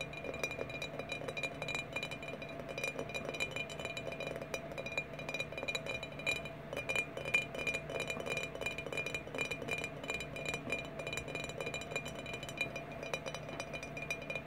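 Glass bottles are tapped in a steady, rapid stream of sharp, bright clinks. Each tap rings briefly with a clear high tone over a soft mid-range hum. The taps run continuously, with no talking.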